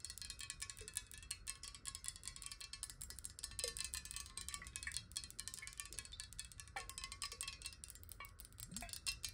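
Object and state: Glass water bottle.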